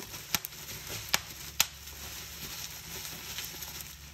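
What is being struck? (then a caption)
Plastic bubble wrap sheet. Fingertips and nails pinch a fold of a clear plastic bubble wrap sheet and pop its bubbles. Four sharp, bright pops with almost no ring stand out over a steady, soft crinkling rustle of the plastic.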